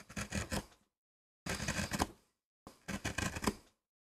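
A wooden-handled carving gouge cuts and scrapes into a small, flat, solid MDF relief printing block with a rose design painted on its dark surface, lying on a rubber mat while the other hand holds it, lifting light shavings. Three dry, gritty bursts of scraping and gouging, sped up 2x, are heard, with brief silences between them. Each burst is a dense, rasping mix of low and bright texture with no ring.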